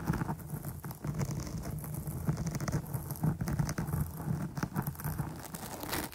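Long nails scratch and pitter-patter across the top and sides of a dark, soft, porous foam microphone windscreen. The result is a dense, muffled, rain-like patter of quick taps and rubbing, heavy in low, boomy tones with very little brightness. It runs continuously, with short louder bursts throughout.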